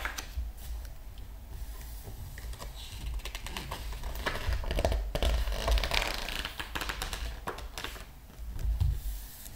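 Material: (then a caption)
Paper. Two hands, wearing rings and a bracelet, lie flat on the glossy paper pages of a large open hardcover art book. The fingertips rub and smooth the pages, making soft, dry, papery friction with bright crinkly edges and a low rumble underneath. A page is then turned with a louder rustling swish.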